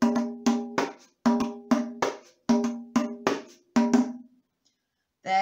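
A round hand-held frame drum with a light wooden rim and a white stretched head is held upright in one hand and tapped on the head with the flat fingers of the other. It gives hollow, pitched taps around 250 Hz in short repeated groups, each tap decaying quickly. The clip ends with a brief different tone after a pause.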